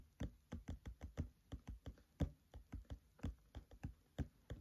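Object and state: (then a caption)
Open paperback book pages. Short-nailed fingertips of both hands tap on the printed pages of a thick paperback book lying open on a table. Nineteen soft, dull, low thuds come in an uneven rhythm, each dying away almost instantly, with little brightness.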